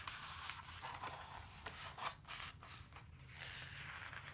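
Fingers grip and flip a glossy page of a large open dinosaur book, then palms rub flat across the spread. Three sharp, bright paper snaps stand out over a continuous airy, high-pitched swish and rub that fades in and out without ringing.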